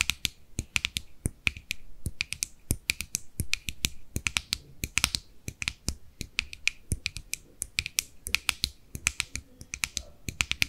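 Long nails tap rapidly on the lid edge and top of a small, hollow, closed white plastic cosmetic jar. The result is a fast, irregular run of dry, bright clicks with a faint ring near 2.4 kHz and a light low thump, each dying away almost instantly.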